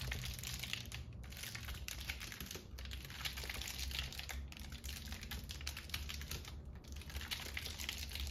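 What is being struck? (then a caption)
Paper lantern ornament. Long nails tap and scratch the cap and stem of a hollow, ribbed, red-and-white polka-dot paper lantern mushroom, then press it flat. A dense, steady stream of crisp, bright paper crinkling and rapid tapping plays over a low, constant hum.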